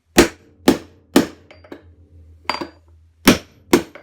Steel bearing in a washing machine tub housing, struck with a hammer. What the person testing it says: those hollow sounds like that show that it's moving